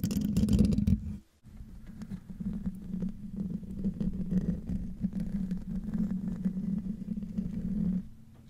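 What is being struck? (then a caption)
Metal mesh microphone grille. Short nails and fingertips of both hands scratch the hollow metal mesh grille of a silver condenser microphone, producing a dense, low, rumbling scrape with a steady hum around 200 Hz. The scratching is loud for about a second, drops to near silence briefly, then resumes continuously before fading to a quiet hum after about 8 seconds.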